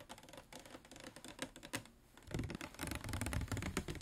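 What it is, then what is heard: Plastic water bottle. A medium-size clear PET plastic water bottle with a white cap, hollow and appearing to hold water, is held up and tapped with fingernails along its ridged sides. Quick, irregular, crisp clicking taps briefly thin out to a quiet lull near the middle, then return louder with a fuller, deeper plastic knock.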